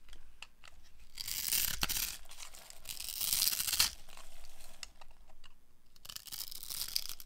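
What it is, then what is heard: Dry soap bar. A utility knife blade carves a hand-held, hand-sized solid light blue bar of dry soap into crumbs and small cubes. Bursts of bright, dry scraping and crunching come and go, separated by quieter crumbly ticks.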